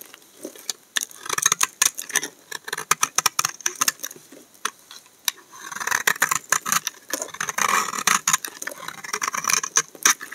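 A solid tan laundry soap bar is scraped along its edge with a utility knife blade, giving a quick run of dry, crisp scratches and clicks. The sound is bright and brittle with no low end, and around the middle there is a brief stretch of denser, grainier scraping.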